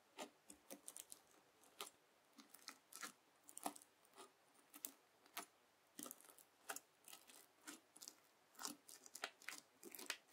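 A white plastic fork is pressed into a round mound of red bead slime (floam), packed with plastic beads and flattened on a white table, then scratched across it, leaving grooves. Quick, irregular bursts of crisp, bright crunching and crackling come as the beads pop and grind, each short and dry with almost no low end. Quiet pauses fall between the bursts.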